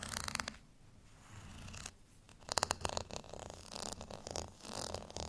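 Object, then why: Ridged plastic rice paddle. Long fingernails scratch the bumpy face of a beige, ridged plastic rice paddle held by its handle. The result is bright, dry rasping in quick bursts, with quieter stretches of softer scraping between them.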